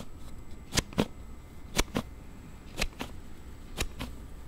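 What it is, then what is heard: Plastic sliding phone case. A thumb slides the card panel of a palm-sized plastic slide case for a Note7 phone open and shut repeatedly, making an unusual sound. Eight short, sharp plastic clicks come in four quick pairs, each a bright snap with a low thud beneath it, over a faint steady background.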